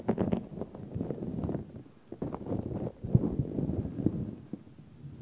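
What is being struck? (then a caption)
Synthetic fur microphone windscreen. Fingertips stroke and rub the long synthetic fur on both sides of a large, hollow, black furry microphone windscreen. The result is a low, muffled, crackling rustle in rough bursts, with a brief quiet pause in the middle and a softer fade at the end.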